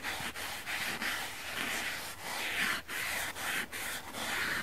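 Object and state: Dry foam sponge being rubbed.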